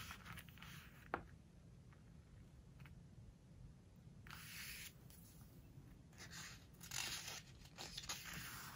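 Fingertips with long nails rub and scratch across a glossy photo spread in a large open hardcover book of glossy paper. Soft, bright, papery scraping comes in broad swells over a low, steady hush, with one sharp tick early on.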